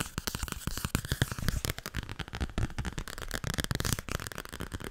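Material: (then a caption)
Cardboard. Fingernails tap quickly on the glossy cover of a small yellow-green children's book with thick cardboard pages, held in both hands. The result is a fast, dense run of short, dry clicks and taps with a low, hollow thump beneath them and almost no ring after each hit.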